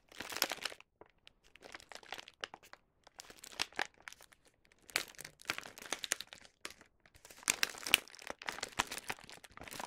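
A small white paper gift bag with a colorful star print, filled with snacks, is held in both hands and worked with the fingertips and nails while its top is folded shut and sealed with a round sticker. The paper gives quiet, bright, crisp crinkling and rubbing in dense clusters, separated by short silent pauses.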